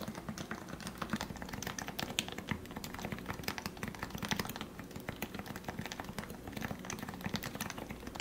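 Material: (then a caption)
Plastic. Fingertips type steadily on the plastic keycaps of a lubed Leopold FC660C Topre keyboard with 45g switches, heard close up. The dense run of soft, muted keystrokes carries a low thocky body under short, crisp clicks that die away almost at once.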